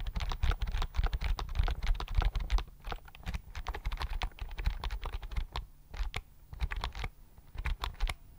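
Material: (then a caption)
Plastic. Fingertips type on a slim white plastic computer keyboard held in front of a microphone. Rapid, uneven keystrokes click sharply and die away almost instantly, each with a soft low thump beneath a bright tap. The typing comes in dense bursts that thin out toward the end.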